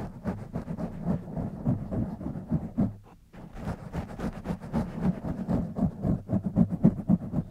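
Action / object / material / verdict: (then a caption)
scrape / foam microphone windscreen / foam / none. Fingertips of both hands scratch and squeeze the foam top of a black foam windscreen on a silver condenser microphone. The result is a dense, muffled, low-heavy rustling and crackling that pulses about four times a second, with a brief pause near the three-second mark before the scratching resumes and grows slightly louder.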